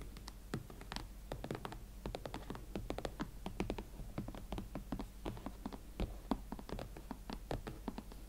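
Long nails tap and scratch the smooth leather surfaces of an empty pair of hot pink leather Valentino Club Platform ankle boots. A steady run of quick, dry, muffled taps mixed with soft scratching is heard, each tap dying out almost at once.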